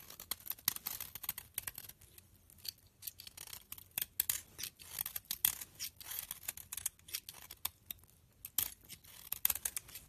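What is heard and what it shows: A utility knife blade scrapes and cuts flakes off the edge of a hand-held, rancid, solid pink bar soap with embossed lettering, held in long dark-nailed fingers. A quiet, rapid series of short, crisp, bright scraping and shaving strokes is heard, with very little low end.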